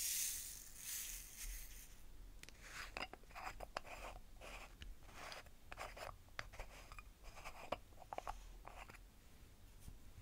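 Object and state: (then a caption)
Stacked plastic bead containers tapped and scratched. Long painted nails tap and scratch the sides of a stacked tower of small clear plastic jars holding fine glass seed beads in blue, white, pink and red, held first horizontally and then upright. A soft, bright rustling hiss opens the clip, then quick, dry plastic clicks and scratchy strokes follow at a quiet, steady level, each tap dying away at once with no ring.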